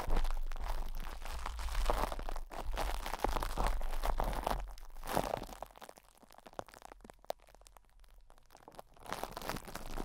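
Fingertips and nails of both hands rub, squeeze and scratch the metal mesh grille of a Blue Yeti microphone wrapped in loose, crinkly cling film. The result is dense, close crinkling and crunching over a heavy low rumble, with sharp scratchy clicks. The sound eases into sparser, quieter scratching from about 6 to 9 seconds, then builds again.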